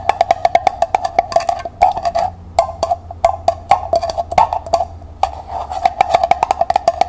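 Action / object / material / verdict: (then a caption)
tap / small metal pail / metal / none. Long nails rapidly tap the bottom of a small, hollow, empty copper-colored metal pail labeled metallic copper, held on its side. Quick runs of short, knocking taps ring briefly around 890 Hz, with occasional brighter clicks and brief pauses between bursts.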